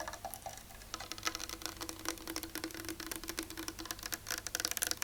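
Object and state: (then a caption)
Real wooden chair. Fingernails tap rapidly on the back of a painted real-wood chair. The result is a dense run of short, dry, bright clicks with almost no ring. A faint low hum sits underneath.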